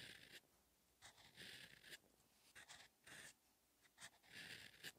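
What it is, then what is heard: Pen nib scratching a paper notebook page. A steel extra-fine fountain-pen nib (TWSBI Eco EF) scratches across a cream, orange-grid notebook page lying flat in a Dongbaek Retorika paperback, writing Korean letters in orange ink. Quiet, bright, papery scratching comes in short bursts separated by near-silent pauses as each stroke is made.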